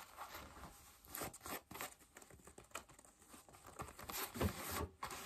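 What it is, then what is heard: Denim jeans scratched. Worn blue denim jeans are scratched with long nails, first at the front and then at the knee. The result is a rapid, uneven run of short, dry rasping strokes with a bright, fabric-scraping texture and a few heavier thumps.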